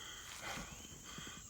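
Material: Nothing is struck.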